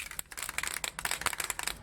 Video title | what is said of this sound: Hand Painted High Heels Tutorial | shake it first until you hear the ball move